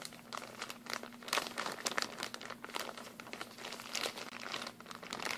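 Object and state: Plastic bag of glue sticks.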